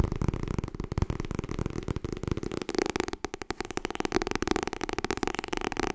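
Long fingernails tap rapidly on the cover of a white softcover copy of the book *Getting Things Done*. The result is a steady, dense stream of short, dry clicks with a low, papery thump beneath them, each tap dying away almost instantly.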